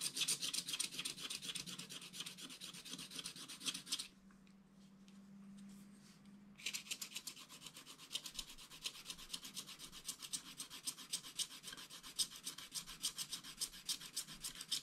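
A wooden stylus scrapes the black coating off wax-coated scratch art paper around a drawn fish, making rapid, bright rubbing strokes. The scratching pauses for about two and a half seconds, leaving only a faint low hum, then resumes with the same quick, steady strokes to the end.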